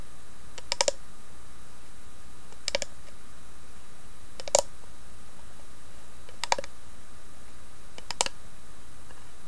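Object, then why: Small carved wooden box. Long nails tap the carved lid of a small hollow wooden box with an inlaid tree design. The result is five brief clusters of sharp, clicky, bright taps, spaced about two seconds apart, over a quiet steady hiss and low hum.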